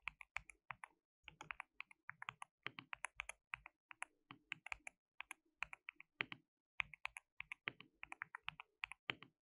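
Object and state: Plastic mechanical keyboard being typed on.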